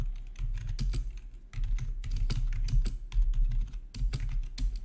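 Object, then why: Plastic computer keyboard. Fingertips type on a full-size black plastic RGB backlit gaming keyboard with a hollow housing, resting on a marble surface. A steady, uneven run of quick keystrokes gives short, dry clacks with a deep, hollow low thump under brief bright clicks.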